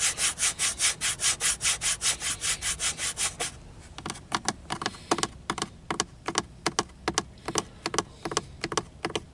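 Fingernails scratch and tap along the edge of a grey textured plastic hood over a car's gauge cluster, a hollow molded dashboard panel. About three and a half seconds of rapid, even, hissing scratch strokes are followed by sharp, dry, irregular clicking taps.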